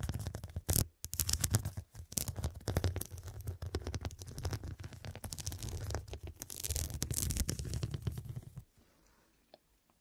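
Long dark nails and fingertips rapidly scratch and tap the square faceted glass studs covering a soft, filled, medium fabric cushion. The result is a dense, continuous patter of clicks and scrapes over a heavy low rumble, with bright crackling bursts throughout. The sound cuts off at about 8.6 seconds, leaving near silence and one faint last tick.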